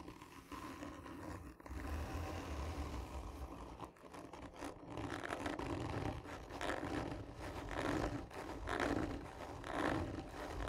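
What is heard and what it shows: Long nails scratch slowly and hard along a hollow, textured cardboard tube lying on its side. The result is a continuous rough, papery scraping with a low hollow resonance, swelling into louder strokes in the second half.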